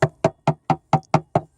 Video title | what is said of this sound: Grand Banks 42 Companion Way Repair | you can tap on it, you can see where the rot is, you can hear the rot